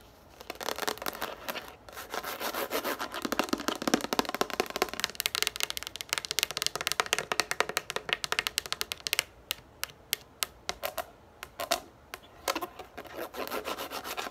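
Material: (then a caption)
Plastic. Long nails scratch and rub the ridged top of a yellow plastic frisbee lying on a table. The result is a dense, bright, rasping scratch at first, which breaks up into quick, sharp, dry clicks and taps with almost no ring or low end.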